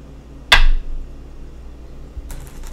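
A go stone is placed on a wooden go board, making one sharp, bright click with a clear tone around 1.6 kHz that fades within about a quarter second. A faint, soft bright rustle follows near the end over low background noise.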